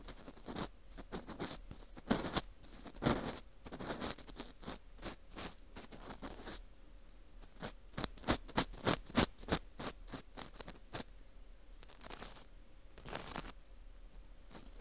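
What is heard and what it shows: An orange plastic earpick scrapes around inside the center hole of a dry, porous ring of dried wheat gluten fu. The result is a quick, irregular run of crisp, brittle scratches and crackles. The bursts are broadband and bright, with a few louder scrapes standing out, over a faint steady low hum.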